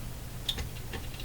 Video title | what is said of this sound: Canadian GE KL500 Multiband Tube Radio Video #12 - Persistence Pays Off | tap on this you hear the click click click and there's the rivet sitting right there so a of the solder didn't work out